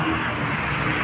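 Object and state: Nothing is struck.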